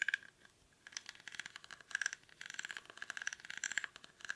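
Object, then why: Woven rattan basket. Fingernails scratch the weave of a small, hollow woven rattan/reed basket held in both hands. Quick bursts of dry, crisp scratching and faint rattling come in clusters with short pauses, bright and thin with a steady edge around 1.6 kHz and almost no low end.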